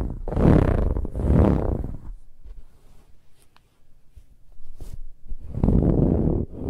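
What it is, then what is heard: Ribbed fabric pillow being scratched. Long nails on both hands scratch a large, soft, dark brown pillow with a ribbed, textured fabric cover. Loud, heavy, low rasping bursts open and close the clip, with quieter scattered scratches and faint rustles between them.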